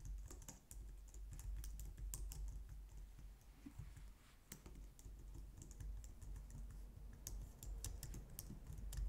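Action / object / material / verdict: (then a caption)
tap / plastic computer keyboard / plastic / none. Long nails and fingertips type steadily on a compact, low-profile white plastic computer keyboard. The result is a continuous stream of quick, light clicks and taps with bright, crisp edges over a soft low thud, each keystroke dying away almost at once.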